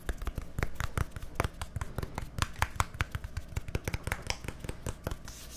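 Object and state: Plastic deodorant stick container.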